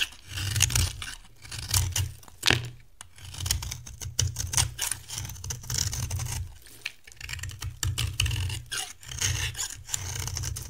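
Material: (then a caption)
Soap. A solid, dry cream bar soap held in the hand is carved with a metal knife blade, with chunks and flakes coming off. The clip is a continuous run of crisp, crunchy scraping and cutting strokes with bright, dry texture and short bursts of louder cuts. A steady low hum sits underneath throughout.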